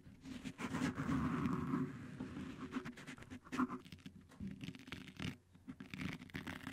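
Both hands scratch and tap with short fingertips and nails on blue stretchy cohesive (flex grip) fabric tape wrapped around the round, hollow, fist-sized metal mesh head of a Blue Yeti microphone. The result is a dense, uneven patter of soft, muffled scratches and quick taps with a low hollow thump.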